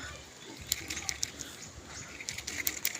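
A small "mutya" stone found in the water is tapped to test whether it is really stone, giving a series of sharp, bright clicks with a short ring over faint background noise. The stone proves to be real, solid stone that rings when struck.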